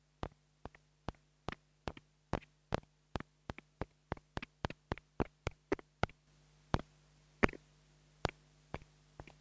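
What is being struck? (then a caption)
Small plastic clip-on microphone tapped with a thin wooden stick. A small black $2 plastic clip-on mini lavalier microphone, held in the fingertips, is tapped on its head and body with a thin wooden stick. 24 short, dry, close-miked taps with almost no ring sound over a steady low hum, spaced evenly at first and then slower. A slightly louder hiss sits under the last few taps.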